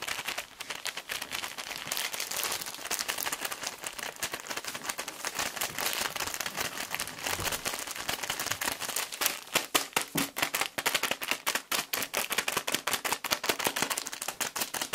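A full, palm-sized soft plastic film pack of wet tissues is held in both hands while fingertips squeeze and crinkle the film. Dense, bright crinkling and crackling fills the clip with almost no low end. It grows into sharper, quicker bursts in the second half.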